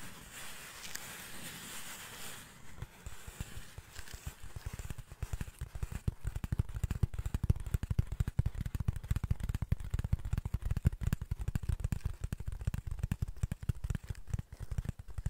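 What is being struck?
Cardboard sheet.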